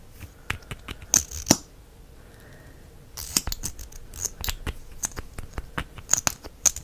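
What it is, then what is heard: Plastic mascara tube. Fingers twist and push the wand cap of a small, hollow plastic mascara tube with a copper finish in and out. The result is a series of short, bright clicks and dry scrapes, with a louder pair near the start, a brief quiet pause, then a steady run of quick snaps.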